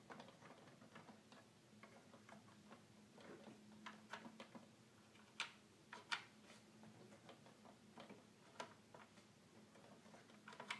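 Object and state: Plastic toy keyboard keys clicking.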